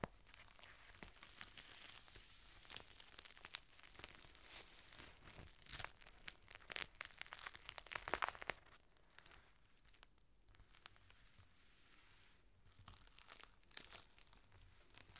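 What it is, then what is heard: Clear plastic rain cover. Fingertips unfold and crinkle a long, thin strip of clear plastic rain cover lying on a table. Dense, bright crackling and crinkling fills the first half, swelling to its loudest bursts around six to eight and a half seconds. It then settles into quieter, scattered rustles for the rest of the clip.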